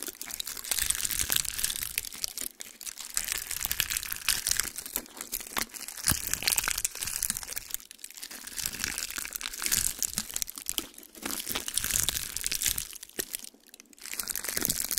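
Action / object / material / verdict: scrape / pine cone, woody scales / wood / none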